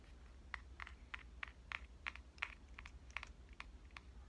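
Long dark-painted nails tap the front of a pink Canon compact digital camera with a metal and plastic body, held upright. Fourteen short, bright, clicky taps land at an uneven pace, each dying away almost at once. A faint steady low hum runs underneath.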